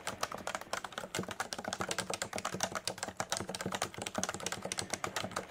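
A Leopold FC980C full-size electrostatic capacitive keyboard with beige and grey plastic keycaps and a solid body sits on a desk mat and is typed on quickly with the fingertips of both hands. A dense, steady run of short, crisp keystrokes clacks with a mid-pitched body and a bright top edge. Each key dies away almost instantly.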